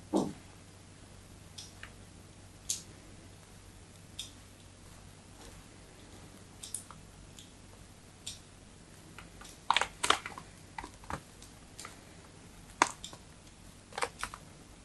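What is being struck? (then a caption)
Bar of white soap cut with a thin metal blade. A thin metal blade scores parallel diagonal cuts into a solid white bar of soap held in the hand. Short, crisp clicks and scraping ticks come at irregular intervals with bright tops and almost no ring, over a quiet, steady low hum.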